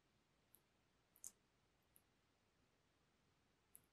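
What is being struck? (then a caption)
Cardboard makeup palette case. Fingertips and nails lightly tap a closed, flat rectangular black textured cardboard makeup palette case held close. Five faint, brief, high clicks stand out against a quiet hiss, with the loudest one just after the first second.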